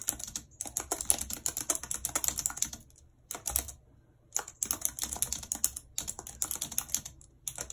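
Long red acrylic nails type rapidly on the hollow keys of a full-size white plastic computer keyboard with a numpad, lying on a world map. Dense bursts of bright, sharp clicking and tapping come with very short decay, broken by brief pauses near the three- and four-second marks before the quick typing resumes.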